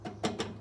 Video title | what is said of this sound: Metro 6r4 Subaru (Frank) - Radiator Bled! | i can tap it it's solid